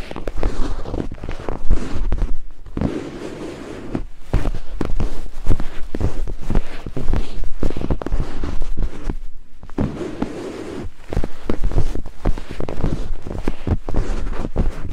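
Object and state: Silicone binaural microphone ear.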